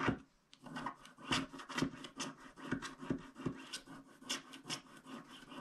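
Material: Wax, paper.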